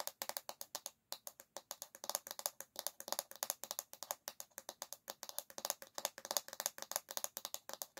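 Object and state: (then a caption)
Bamboo hairbrush back. Long fingernails tap fast on the solid bamboo back of an oval hairbrush, making about 58 dry, bright clicks with a brief pause just after the first second. Each tap is sharp and dies out almost instantly, with no low end and no ringing.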